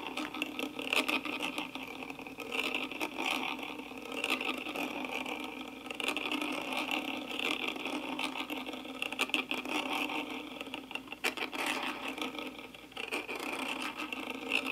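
A wooden-handled brush sweeps over the hollow metal mesh grille of a karaoke microphone with lit LEDs. It makes a steady, scratchy brushing with a resonant ring near 2.7 kHz and almost no low end. Brighter swells and crackles come with each stroke.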